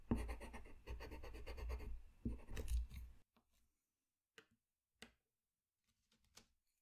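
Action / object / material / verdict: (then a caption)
scrape / paper sheet and pencil tip / paper / none. A colored pencil tip scratches across a flat white paper sheet in continuous coloring strokes, making a dense, rapid, gritty rasp with a low-heavy body for about three seconds, with one brief pause partway through. After that it goes mostly quiet, with only a few short, faint scratches spaced apart.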